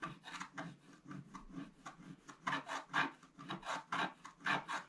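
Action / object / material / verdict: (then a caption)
scrape / black-coated scratch-art paper scraped with a wooden stylus / coated paper / none. A wooden stylus scrapes long strokes through the black coating on the right side of a flat, black-coated scratch-art paper sheet. The result is a steady run of dry, raspy scratches that swell and fade with each stroke, with a bright midrange hiss and little low end.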